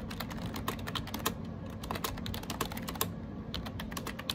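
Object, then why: Plastic keyboard keys. Bare fingertips type quickly on a gray AJAZZ 308i wireless Bluetooth keyboard with round plastic keycaps and a hollow plastic case, lying on a desk beside a tablet. Dense, bright plastic clicks and taps follow each other in a steady stream over a low hum.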